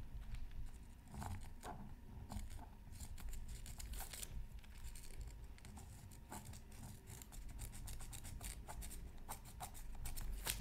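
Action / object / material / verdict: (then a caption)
scrape / coated scratch art paper sheet / coated paper / none. A bamboo stylus scratches a flat black-coated scratch art card from a Mythical Creatures Super Scratch Art Pad, with the other hand holding tracing paper. Crisp, bright scratching strokes come in quick irregular bursts over a steady low hum.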